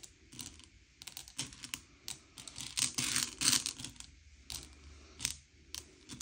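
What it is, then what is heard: Candy-coated chocolates being pushed around. Fingertips slide and push a pile of small, hard, sugar-shelled M&M's candy-coated chocolates around a grey plate, sorting them by colour. The result is a quick, irregular run of bright clicks, rattles and scraping taps as the shells knock and skid against each other and the plate, with a few louder clustered bursts near the middle.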